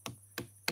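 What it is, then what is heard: Tapped watermelon. A watermelon is tapped three times with short, dull knocks. Each one decays quickly over a steady low hum.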